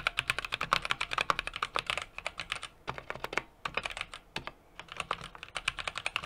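Fingertips type continuously on a small 60% mechanical keyboard with an aluminum case, brass plate and plastic keycaps. Quick, bright, clicky keystrokes with a sharp midrange tick near 1.1 kHz patter in uneven bursts, each decaying almost instantly, with brief lulls between runs.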